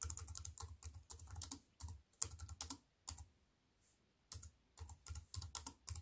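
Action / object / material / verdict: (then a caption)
tap / plastic computer keyboard keys / plastic / none. A compact wireless keyboard with black plastic keys on a grey metal-look frame, lying flat on a wooden table, is typed on with fingertips and long white-painted nails. Quick runs of bright, crisp plastic taps and clicks sit over a soft low thump, with brief pauses between bursts and a longer gap around the middle.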